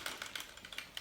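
An airsoft high-capacity magazine with its feed section pulled out is shaken, and leftover BBs rattle inside the main body. The sound is a quick run of bright, light clicks and rattles with little low end. It shows BBs are still left inside.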